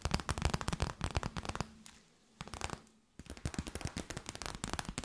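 An empty clear plastic bag is tapped and crinkled with long nails, giving rapid, dense bursts of sharp crackling taps. The crackling stops briefly, returns as a short cluster, pauses again, then resumes steadily to the end.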